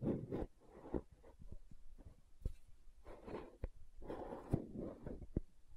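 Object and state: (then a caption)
Plastic gel jar tapped and scratched. Long nails tap and scratch the side wall of a green plastic aloe gel tub. Soft, dull scratching swells between sharp, short taps, with the sound sitting mostly low and quiet and each tap dying away almost instantly.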